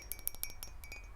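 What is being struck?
Mug tapped with fingernails.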